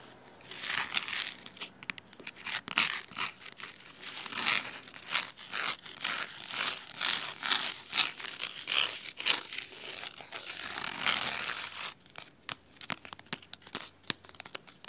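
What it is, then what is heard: Fabric-covered hardcover book. Fingernails scratch the cloth spine of a large red cloth-bound hardcover book, making crisp, bright, dry rasping strokes in quick rhythmic bursts. The dense scratching thins out near the end into sparser sharp ticks and scrapes, with almost no low end.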